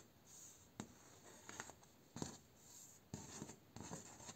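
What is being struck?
Bamboo slat door.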